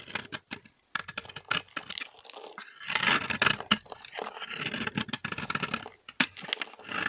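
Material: Soap.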